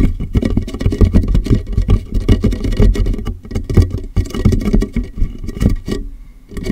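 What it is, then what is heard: Empty plastic water jug, hollow. Fingertips tap rapidly on the base and sides of a large, empty, hollow, clear plastic water jug set upside down on a microphone. The result is a dense, uneven patter of deep, boomy, hollow thuds centered low, around 86 Hz, each dying away almost instantly. The tapping eases briefly near the end, then picks up again.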